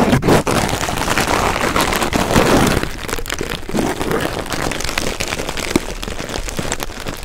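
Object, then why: Shredded paper filler. Red shredded paper filler is pressed between two pencil microphones, giving a dense, crisp paper rustle with many small crackles. The crackling is loudest and fullest over the first three seconds, then continues slightly quieter and thinner with scattered sharper snaps to the end.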